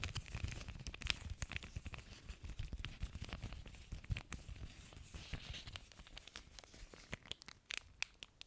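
An empty clear plastic zip-lock bag, folded and held in both hands near the mic, is crinkled and squeezed with fingertips and nails. Dense, sharp crackling snaps and bright crinkles run throughout, over a soft low rumble from the handling.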